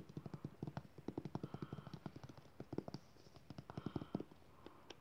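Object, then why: Soft plastic squeeze tube of lotion. Fingertips and nails tap and scratch fast along a white soft plastic squeeze tube of aloe lotion, which is hollow and partly filled, including its crimped end. The result is a quick run of dull, hollow, low-pitched taps that die away almost at once. Faint scratchy rubbing fills a brief lull in the middle before the tapping resumes.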